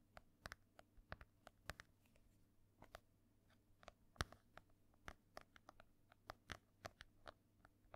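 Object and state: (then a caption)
Embossed hardcover book. Long nails tap and scratch across the textured cover of a solid, ornate embossed hardcover book. About two dozen short, crisp, bright clicks ring out over a quiet scratching bed and a faint steady low hum, each tap dying away almost instantly.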